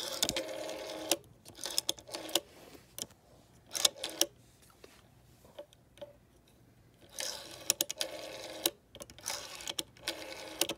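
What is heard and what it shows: A long fingernail taps and scratches the clear plastic rotary dial and its finger stop on a green vintage phone with a gold metal rim. Bursts of bright, dry scratching alternate with sharp, short clicking taps and quiet pauses.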